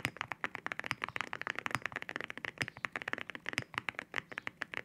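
Fingertips type quickly on a mechanical keyboard with ceramic keycaps. About 29 sharp, bright clacks arrive in a steady, uneven stream, each with a short, hard ring and almost no low end.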